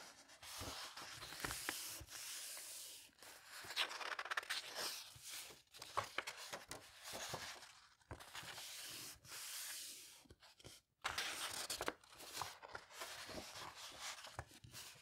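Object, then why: Old paper book pages. Fingertips with painted nails slowly turn and smooth the thin, aged paper pages of a vintage handwritten book with a cardboard cover, lying open on a cloth surface. Soft, bright paper rustling and rubbing comes in bursts, with short quiet gaps between page turns.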